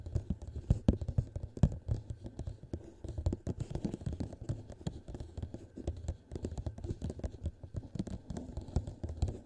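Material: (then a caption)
Plastic. Fingertips of both hands tap fast and lightly scratch the sides of a hollow, empty clear plastic cup placed over the microphone. The result is a dense, continuous patter of short, muffled, low thumps with soft scraping in between, with almost no bright edge.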